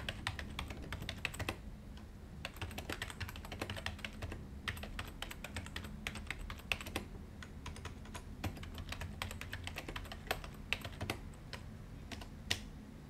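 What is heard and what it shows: Two hands type with their fingertips on a white plastic desktop keyboard with hollow plastic keys, resting on a glossy desk. A steady, fast run of short, bright, clicky key taps continues throughout, over a constant low background rumble.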